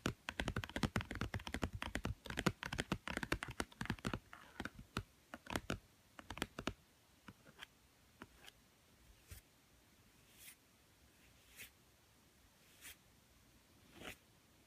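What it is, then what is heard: Cardboard board book. Fingertips and nails tap the blue glossy cover of a small, thick, solid children's board book with stacked cardboard pages, lying on a woven mat. Fast, dense, dull tapping with brief clicks fills the first few seconds, then slows into sparse, separate taps that end in a few soft, bright scrapes.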